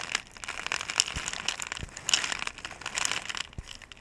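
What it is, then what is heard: Plastic bottle of small beads. A clear, ridged plastic bottle with a blue cap, nearly full of small white round pellets, is held sideways in both hands, shaken and handled while long-nailed fingertips grip and rub its surface. Bright, dense crinkling and rattling come in uneven bursts, with sharp clicks of the pellets and a few soft low thumps from the handling.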